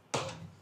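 A single hollow knock on the wooden staircase leading to the upper floor of a duplex hotel room. The footfall lands with a sharp, bright attack, then settles into a low resonant body that rings briefly before fading.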